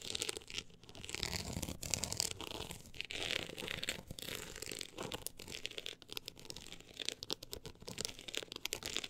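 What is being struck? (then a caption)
Embossed book cover. Long acrylic nails scratch across the woven-look embossed cover of a closed, solid book lying flat. The result is a dense, bright, crinkly rasp of rapid short strokes that swell and fade in uneven bursts, with little low end.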